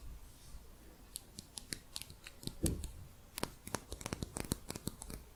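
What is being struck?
Plastic crochet hook.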